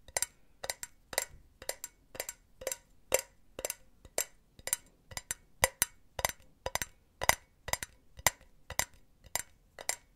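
Long nails tap the side of a hollow, empty silver metal mesh cylinder pen holder in a steady, even rhythm. Each tap is a short, dry, bright click that dies away almost instantly, with a faint metallic tick and little low end.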